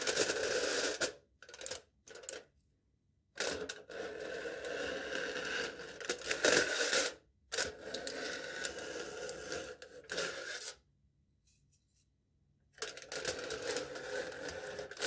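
A knife tip taps and scrapes across aluminium foil stretched over a cup, a foil-wrapped cylinder with an embossed foil top. Bright, crinkly scraping and quick tapping come in bursts of a few seconds, with a midrange ring near 500 Hz. Short silent pauses separate the bursts.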